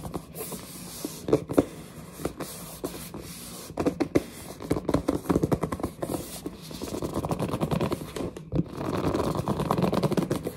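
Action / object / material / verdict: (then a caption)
scrape / glossy printed cardboard box / cardboard / none. A large, hollow, glossy printed cardboard headset box is gripped and scratched with long nails and fingertips. This produces dry scraping and squeaky rubbing with sharp taps scattered throughout. Around the middle and end, the sound thickens into longer stretches of dense, rough scratching.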